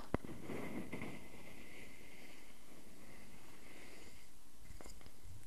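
A solid round wooden log slice is held in the hands while fingernails scratch along its bark edge and across the ring face. Soft, low, rustling scratches run continuously with a few brief sharper taps, including one near the start and a couple near the end, over a steady quiet background hum.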